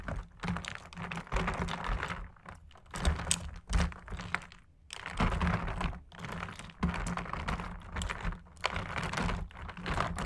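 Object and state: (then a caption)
Ice cubes tapped and stirred in soda. Two thin metal straws or sticks poke, tap and stir solid ice cubes floating in fizzy Sprite inside a large clear plastic food container. Dense bursts of quick, dry clicks and clacks with soft low thumps come in waves, separated by brief quieter pauses with a faint bright crackle between them.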